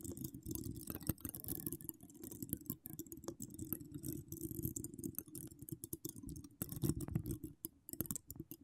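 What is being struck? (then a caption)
Metal mesh microphone grille. Long decorated acrylic nails scratch the hollow metal mesh grille and wire spirals of an uncovered microphone. The result is a steady, dense stream of close, quick scratching and clicking with a heavy low rumble underneath, thin bright crackle on top, and short swells and dips throughout.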